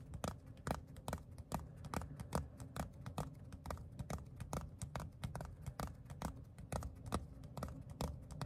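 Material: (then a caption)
Leather. A palm-sized, flat and solid black pebbled leather phone case or wallet with a small pink sticker is held in the hands and tapped and scratched with the fingertips. Quick, irregular taps land at a steady pace as soft, dull, low thuds with brief bright clicking edges. A faint rustling scratch runs underneath, and each tap dies away almost instantly.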